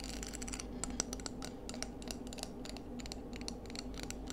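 Long nails scratch and tap along the ribbed outside of a palm-sized, hollow, empty scallop shell with orange-tinged ribs, held in both hands. Quiet, dense, crisp scratches and bright, short clicks come in quick succession over a steady low hum, each tap dying away almost instantly.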